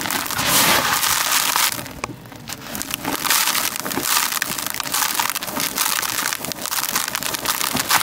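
Bare hands scoop, squeeze and crush dark grey dry crumbled concrete grit in a white plastic tub, then let it pour through the fingers. A dense, bright, gritty crunching and rustling runs throughout, easing briefly into a quieter sifting patter near the two-second mark before the crunching picks back up.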